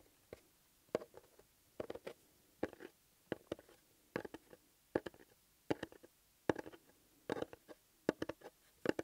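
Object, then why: Small closed cardboard box. Fingertips and nails tap and scratch the surface of a small, flat, closed, hollow blue paper-covered EMTEC cardboard box held in one hand. Quiet clusters of short, dry, papery taps and scratchy strokes come in irregular bursts, with a hollow midrange knock and no ring.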